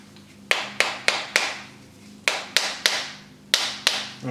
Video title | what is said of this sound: DIY - Bath Bombs for Beginners(Great Christmas Gifts!) with Recipe! | just whack it until you hear kind of a hollow sound